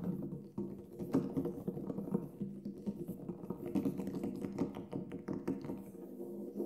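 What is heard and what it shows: Fingertips tap and drum on the black synthetic head of a large, hollow Remo Buffalo frame drum lying flat with its head up. A steady patter of soft, quick taps sounds over a warm, low-mid hum that rings briefly after each touch, with a few firmer strikes standing out.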